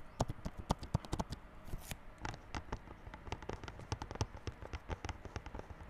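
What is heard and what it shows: Fingertips tap and scratch the clear plastic-wrapped front face of a small yellow cardboard Realme Buds Classic earphone box lying flat. The result is a quick run of short, dry, low-weighted taps with crinkly plastic scratches between them, including a brief brighter scraping hiss near the two-second mark. Each tap dies away almost instantly.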